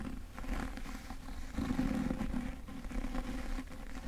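Fingertips grip and rub and scratch the cover and edges of a solid, medium-sized yellow cloth-bound hardcover book held upright in both hands. The result is a continuous, low, dull scraping rustle with no clear separate hits and almost no bright content.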